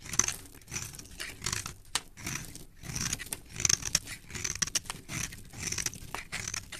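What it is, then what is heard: Soap bar being shaved. A metal blade scrapes and shaves the surface of a solid, palm-sized beige bar of soap held in a hand with dark-painted nails, producing crumbly shavings. A steady run of bright, crisp scraping and crunching strokes rises and falls in waves, each dry and short with no ring.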